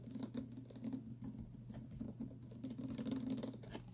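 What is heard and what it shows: A tall clear plastic water bottle with printed text and an inner straw, partly filled with liquid, is tapped with fingertips and short nails. The result is a quick, continuous patter of soft, hollow taps with a low tone around 270 Hz over a steady low hum, with occasional brighter clicks from the nails.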